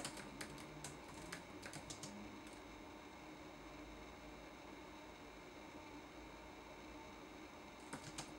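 Fingertips tap the plastic keys of a red-backlit laptop keyboard, giving about 11 soft, bright clicks. A burst of typing in the first two and a half seconds is followed by a long pause, then a few more taps near the end. A faint steady hum runs underneath throughout.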